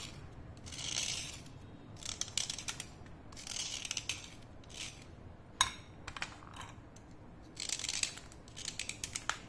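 A thin, solid slate pencil held vertically is scraped with a utility knife blade, spraying powder onto a plate. Repeated bursts of bright, gritty scraping come in quick strokes, separated by short quiet gaps and a few sharp, brief clicks against a faint low background hiss.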